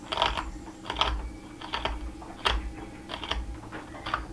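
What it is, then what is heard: Cherry wood spatula blank being carved. A steel carving knife shaves and scrapes the edge of a solid, flat, narrow cherry wood spatula blank held in a gloved hand against a leather apron. Short, dry, scratchy strokes come in an uneven rhythm, each a brief rasp with bright upper texture that dies away quickly over a low, steady background rumble.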